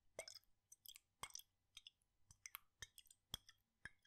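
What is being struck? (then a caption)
Glass jar with liquid. A glass jar with a red lid, partly filled with blue liquid, is tilted and shaken in one hand with the fingertips resting on the glass. Quiet, irregular bursts of bright sloshing, plopping and faint clinks follow one another, each cutting off quickly with almost no ring.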